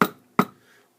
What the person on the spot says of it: much heavier and I think is more forceful when you tap it down on uh your bench